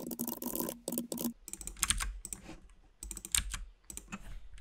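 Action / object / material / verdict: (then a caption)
tap / mechanical keyboard with plastic keycaps / plastic / none. A compact RGB mechanical keyboard with white and pink plastic keycaps is typed on steadily with the fingertips of both hands. Dense, bright, crisp clicks with very short decay come in quick runs, with a denser, louder burst at the start.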